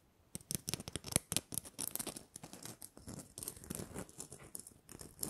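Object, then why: Glitter-coated plastic Christmas bauble. Long nails scratch the rough glitter coating of a small, hollow, red glitter-coated plastic Christmas bauble with a gold cap. A quiet, rapid series of dry, crackly scrapes and ticks follows, with bright, sharp grit on top and a faint, hollow body beneath.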